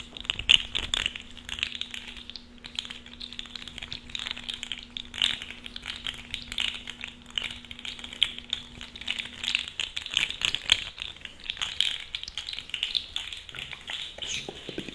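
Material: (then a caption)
Plastic. A small purple-and-black plastic articulated fidget slug with hollow, jointed segments is flexed and squeezed with the fingers. Its segments make dense, rapid, bright clicks and rattles, with sharp ticks that fade almost instantly. A faint low steady hum runs underneath for the first ten seconds.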